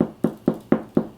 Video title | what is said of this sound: The easiest sourdough bread - SNACKS Episode 2 | if it sounds hollow, you did a great job